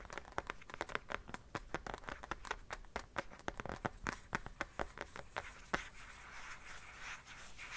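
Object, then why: Empty plastic phone case. Fingernails tap and scratch the back of an empty black plastic phone case held at an angle. A quick run of sharp, bright clicks fills the first six seconds, then gives way to a softer, steady scratching hiss until the end.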